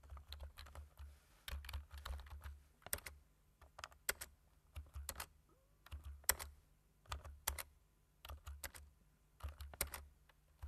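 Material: Plastic.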